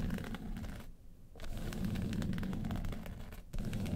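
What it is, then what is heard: Faux-leather covered hard case. Long pointed nails scratch and tap the lid of a small, hollow, hard yellow makeup case covered in woven-texture faux leather. The result is a steady, dull, low-heavy scraping rustle with quick taps and almost no ring. It pauses briefly around one second and again just before the end.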